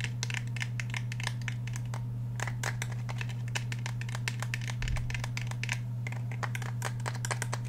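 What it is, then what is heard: Polymer and steel handgun. Fingernails scratch and tap the polymer frame and steel slide of a black Glock 17 handgun held horizontally. Many quick, bright clicks and scratchy strokes come in rapid irregular bursts over a steady low hum.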